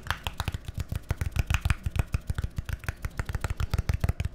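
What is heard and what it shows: A small labeled, hollow plastic bottle or tub with a green cap is held in hand and tapped and scratched with fingernails. Quick, irregular taps give short, dry, hollow knocks with a low body and crisp bright clicks, while faint scratchy rustling fills the gaps between them.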